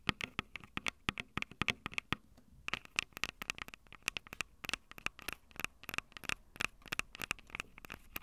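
Long purple nails tap and scratch the small metal mic capsule heads of a Tascam DR-05 handheld recorder with a plastic body and two metal capsules. Quick, dry clicks come in a dense, irregular run, each sharp and bright with a ringing tone around 2–3 kHz. A short lull falls near the two-second mark before the tapping resumes.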